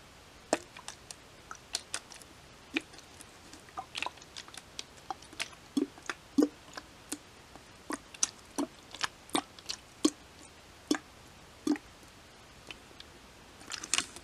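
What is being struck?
Plastic water bottle, partly filled.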